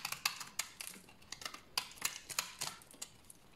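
A solid, dry brown bar of soap held in the hand is shaved with a utility knife blade, producing crunchy flakes. Quick, dry, bright scraping crunches come in an irregular run of short bursts with almost no ring and little low end.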